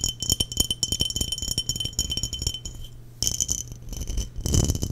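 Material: Glass.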